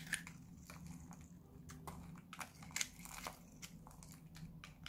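A solid white bar of dry Lux soap, held in the hand, is cut and scraped with a metal knife blade. Quiet, dry, crunchy crackles and short bright scraping bursts come one after another over a faint low hum, with no ringing after each stroke.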